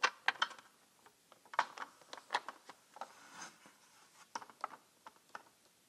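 Long red-painted nails tap and click on the labelled lids of small round plastic jars in a rectangular clear plastic organizer tray, some jars full of colored resin diamonds and some empty. About fourteen light, dry, bright clicks sound in an uneven rhythm, each dying away almost at once, with quiet gaps between them.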